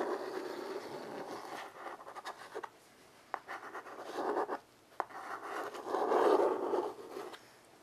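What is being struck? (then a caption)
Chalk on a wood-framed chalkboard. White chalk held in the fingers scratches lines across a flat black chalkboard with a wooden frame and solid board, lying on carpet. Dry, gritty scraping comes in uneven bursts with short pauses between strokes, plus a couple of sharp clicks where the chalk meets the board. The loudest, densest stroke comes near the end before it trails off.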